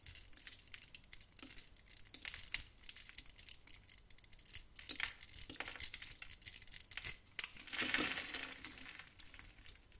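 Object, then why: Bar of soap. A small metal blade carves and scrapes a hand-sized bar of old, dry tan soap held in the hand, cutting small cubes that crumble off. The sound is a steady run of crisp, bright scratching and crackling with short gritty bursts and crumbling ticks, and almost no low end.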